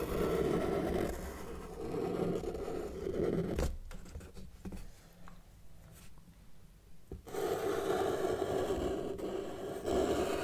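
A felt-tip marker tip is drawn across a flat white paper sheet on a table in one continuous line, giving a steady scratchy rubbing sound centred around 400 Hz. The scratching runs loudly for about three and a half seconds, drops to a faint near-silence for several seconds, then resumes at full strength to the end.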